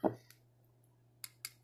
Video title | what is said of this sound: Estée Lauder Cinnabar review. | I'm tapping my ring on it, so you can tell it's plastic.